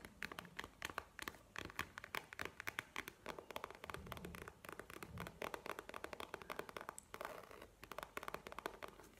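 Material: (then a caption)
Faux leather. A map-print faux leather wallet is held up and tapped and scratched with long painted nails. Quick, dry, bright clicks and taps follow one another in irregular bursts, with softer scratching between them and a brief stretch of rougher scraping near the end.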